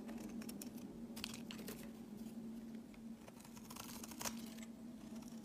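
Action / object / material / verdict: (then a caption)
scrape / solid bar of soap scraped with a blade / soap / none. A utility blade scrapes grooves and shavings off a solid cream rectangular bar of soap held in the hand. Quiet, crisp scraping and crackling strokes come in short bursts over a steady low hum.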